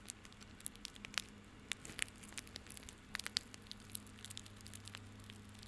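Fingertips and nails scratch and rub a small, tied, handheld bundle of plastic rope. Quiet, bright, crackling ticks and scrapes scatter irregularly over a faint steady low hum for about six seconds.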